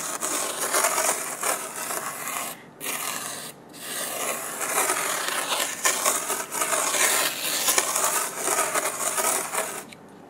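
A red plastic spoon held in the fingers rubs fine light-blue sand across a flat, sticky sand-painting sheet about A4 size. This makes a steady, bright, gritty scraping hiss. It breaks off briefly twice and fades near the end.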